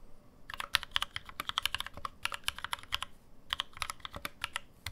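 Fast two-handed fingertip typing on a black NovelKeys NK65, a 65% mechanical keyboard with an aluminum case, plastic keycaps and lubed NovelKeys Cream switches, resting on a deskmat. The result is a rapid, steady run of crisp, bright keystroke clacks with almost no ring. There are brief lulls near 2 and 3.2 seconds, and only light low-end thump underneath.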